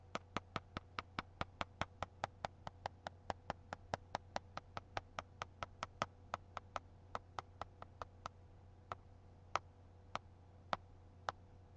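A single fingernail taps on a paper book about forty times, making short, dry, tick-like taps at a steady pace that slows and spreads out toward the end. A faint steady low hum sits underneath.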